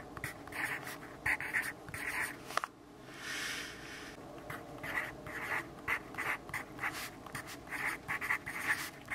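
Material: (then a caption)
Paper. A yellow graphite pencil writes and scribbles on the page of an open grid-paper notebook. Short, bright, scratchy strokes come in quick bursts, broken by a softer, steady scribble partway through.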